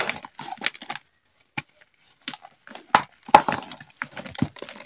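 Bare fingertips with painted nails squeeze, crumble and rub small solid blocks of yellow gym chalk (magnesium carbonate), all the same material throughout, in a white bowl with loose powder. The crushing produces irregular bursts of dry, crisp crunching and crackling, with sharp snaps and brief quiet gaps between handfuls.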